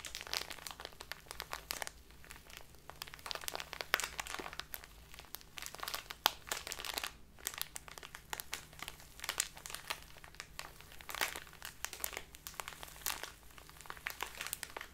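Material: Plastic.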